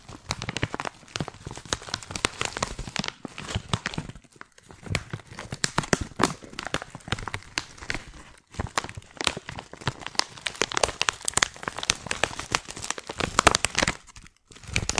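A white printed plastic tea pouch, hand-sized and filled, is crinkled and squeezed with long painted nails and fingers. It makes a dense, continuous run of sharp, bright crackles and crinkles, broken by a few short pauses.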